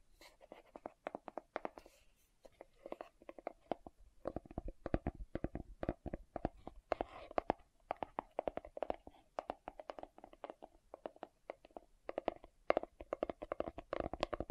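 Fingertips and nails scratch and rub the lid of a green plastic aloe vera gel jar held up facing forward. The result is a rapid, uneven series of short, dry plastic clicks and scratches centered in the midrange, with almost no ring. Brief pauses fall around two and four seconds.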